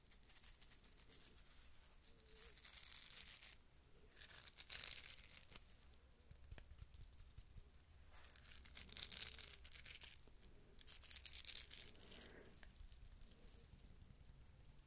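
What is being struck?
Small ribbed wooden cylinder.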